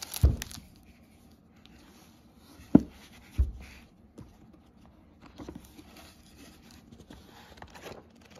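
A hardcover book is held by its edge while its paper pages are bent and riffled with the fingers. Three sharp, dry page slaps stand out early on, followed by soft, irregular rustling and flicking as the pages are flipped in a quiet space.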